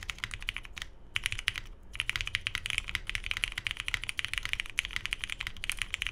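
A Tomo 75% mechanical keyboard with lubed Cherry MX Hyperglide Brown switches, a hollow navy case, a polycarbonate plate and cream and grey plastic keycaps is typed on continuously with the fingertips of both hands while resting on a desk mat. A rapid, steady stream of short, crisp, bright clacks centered near 2.8 kHz is heard, with soft low thuds underneath. Brief pauses fall around the one- and two-second marks.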